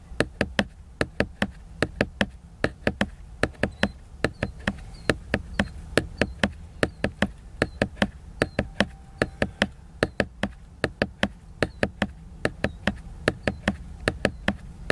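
A book is knocked and tapped over and over, giving about 55 short, dry taps in an uneven rhythm. Each tap dies away almost at once over a steady low background rumble.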